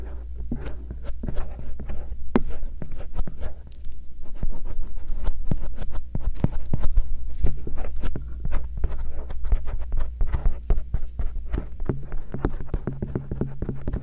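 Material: Silicone.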